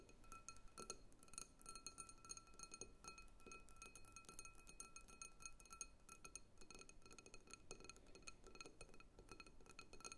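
Long acrylic nails tap and click rapidly on the walls and rim of a medium clear glass bowl full of water-gel beads resting on a wooden table. The result is a quiet, dense stream of short, bright glassy clinks with faint sustained high ringing tones over a low background rumble.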